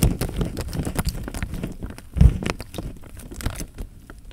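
Fingertips squeeze, crinkle and rub the thin film of a full, clear plastic bag filled with water, making the water inside slosh. Dense crinkling and soft rustling run throughout, with low, heavy thumps of moving water and a louder squeeze-and-slosh surge at about two and a quarter seconds.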